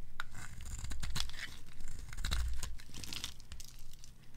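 A red-pink bar of dry soap, held in a hand with long gold nails, is scraped and carved with a metal blade as pink shavings pile up. Quick, bright, crisp scraping and crackling strokes follow one another over a faint low hum.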